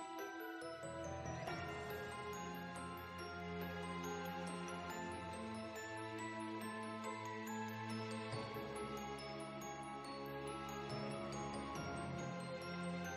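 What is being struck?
Nothing is struck.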